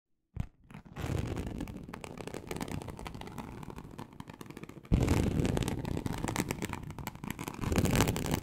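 A large, flat teal snakeskin-embossed leather sheet, likely faux, lying on a surface is scratched slowly with very long acrylic nails of both hands. The result is a dense, continuous, low, rumbling scratch with a rough, grainy texture that begins after a few soft taps and grows noticeably louder about halfway through.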